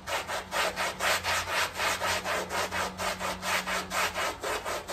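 A long-handled round brush is scrubbed back and forth across a small, heavily dirty, muddy flat woven rug covered in soapy foam. Each stroke makes a bright, wet, rasping swish in a quick, steady rhythm, with a faint low hum underneath.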